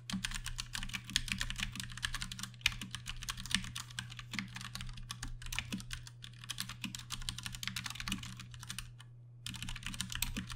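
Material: Plastic.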